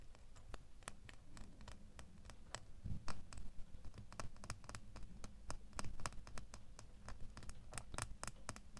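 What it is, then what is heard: Metal door key, scratched with fingernails. A small solid metal door key, held in both hands, is scratched with fingernails along its blade and bow. Many quick, bright scratching clicks sound irregularly throughout over a steady low rumble.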